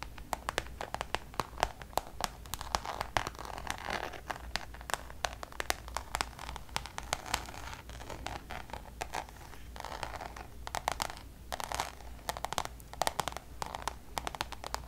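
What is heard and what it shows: Long nails on both hands tap and scratch the surface of a checkered coated-canvas Louis Vuitton zip pouch. The result is a dense run of quick, dry clicks and scratchy rasps with a light crinkly texture. A faint low hum sits underneath.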